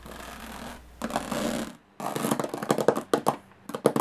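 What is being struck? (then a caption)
Small aluminum case with textured lid. Long fingernails scratch across the textured metal lid of a small, hollow aluminum briefcase in a steady rasping sweep, then pause briefly. They follow with quick, bright taps on the lid, each one short and clicky with a hollow ring that stops almost at once.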